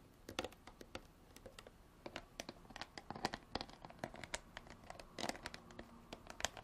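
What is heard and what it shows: Long artificial nails tap and scratch the ridged body of a clear plastic bottle, partly filled with water and tilted in the hands. The result is a quiet, steady run of quick, dry clicks and raspy scrapes with crisp high edges that die away almost instantly.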